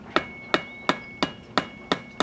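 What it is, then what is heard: Hollow, unbonded stucco. A stucco wall is tapped seven times with a tool that has a metal button on its end. Each tap gives a short, hollow knock with bright ringing overtones and a quick decay. The hollow sound marks unbonded stucco that is not anchored properly and will be demolished.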